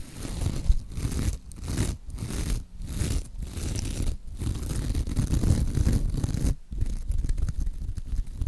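Long acrylic nails scratch and squeeze a hand-sized, soft, porous pink sparkly mesh scrub sponge. The sound is a dense, scratchy rustle concentrated low in pitch, coming in sustained strokes broken by brief quiet gaps.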